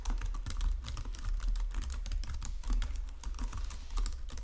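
Fingertips with painted nails type across the low-profile keys of a full-size white and silver plastic Logitech keyboard resting on a marble desk. The result is a steady, rapid stream of short, dry plastic key clicks and taps that barely ring, over a deep low thump that carries most of the sound's weight.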